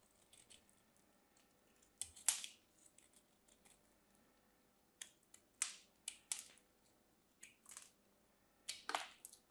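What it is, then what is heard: Bar of soap being carved. A shrinking solid piece of mint-green bar soap, held in the fingertips, is carved with a small craft knife. Quiet, irregular, bright scraping cuts come in separate bursts, with the louder slices rising sharply and fading quickly.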